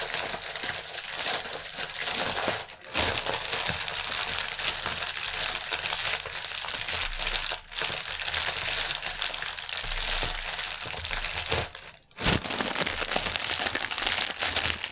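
Fingertips and nails scratch and press the film of a strip of inflated, hollow, air-filled clear polyethylene air pillow packaging lying on a table. The result is dense, bright, continuous crinkling and crackling with little low end, broken by brief pauses near 3, 7.5 and 12 seconds.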